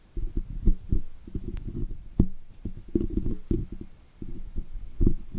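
A thin steel dental pick scratches and scrapes dirt from between the wires of the woven metal mesh grille on a large condenser microphone with a hollow head. Close up, the scraping comes through as a dense run of low, muffled thumps and rumbling scratches, with a few brief bright clicks on top. The strokes come in short bursts with brief quiet gaps between them.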